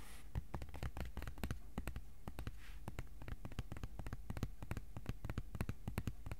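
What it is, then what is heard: Thin cardboard sheet. Fingertips tap rapidly on a thin white cardboard sheet, first held vertically and then laid flat. The taps are soft, quick, dull thuds with little ring, mostly low in tone with faint bright clicky edges, continuing steadily throughout.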